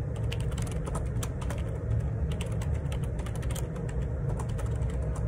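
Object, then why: Plastic computer keyboard. Fingertips type continuously on the plastic keycaps of a black Perixx Periboard 612 wireless Bluetooth dual ergonomic split keyboard resting on a grey table. A dense run of short, bright key taps rides over a steady low rumble, and each tap dies away quickly.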